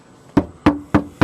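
Four knocks on a Jeep's bare steel roof panel with the headliner removed and no sound deadening applied. Each knock rings hollow with a short metallic tone around 300 Hz that fades quickly.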